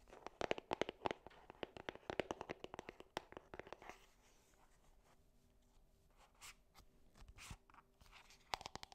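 A small, hollow gold cardboard perfume box is scratched and tapped on its faces with long nails. A dense run of crisp, dry clicks and scratches fills the first four seconds. Then come quieter, sparse rustles and scrapes, and a brief cluster of sharp taps returns at the end.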